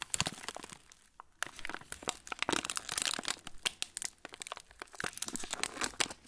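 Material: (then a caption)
Plastic film. Fingertips crush and crinkle the loose, crumpled end of a yellow plastic-film TUC cracker packet. Dense, bright crackles and crinkles come in quick bursts, with a brief lull near the one-second mark, and the film rustles steadily with little low end.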